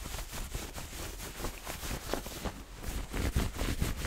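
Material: Nothing is struck.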